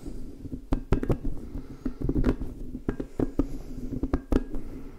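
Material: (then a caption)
Rubber. An orange, hand-sized, squishy soft rubber spiky puffer ball is rubbed and squeezed with fingertips and palms while its spikes are brushed. This produces irregular soft squishes, rubbery squeaks and short dull pops over a low, muffled rustle.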